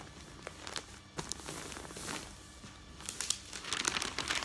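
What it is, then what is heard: Newspaper sheets. Large, thin newsprint newspaper sheets are spread flat on a bed while fingertips with long nails smooth and rub the pages, then lift and turn them. Soft, bright rustling and crinkling swell and fade, with sharper crisp crackles near the end as the pages are turned.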